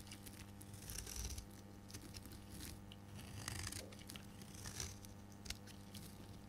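A solid rectangular dark green dry soap bar is held in the hand and shaved with a metal blade into pale green curls. Quiet, dry scraping and crunchy cutting strokes come in bursts over a steady low hum, with brighter crackly swells around one, three and a half, and five seconds.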